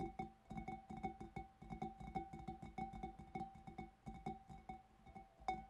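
Fingertips and nails of both hands tap the front of the bulb of a large, empty, hollow clear glass fish bowl. A rapid, uneven stream of light taps follows, each one giving a short glassy ring with a steady tone near 750 Hz and a fainter overtone above it, plus a soft low thump underneath.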